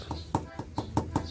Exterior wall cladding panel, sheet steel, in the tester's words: pag tinignan mo sa malapitan, kinatok mo, hindi siya kahoy. Ano siya? Steel. bakal yan.